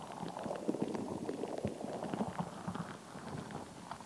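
A palm-sized, solid, translucent rubber stress ball full of colored water gel beads is held in both hands with long acrylic nails and squeezed, kneaded and scratched close to the mic. It makes a steady, muffled run of soft, wet squishing and faint clicking, mostly low and midrange with little bright content.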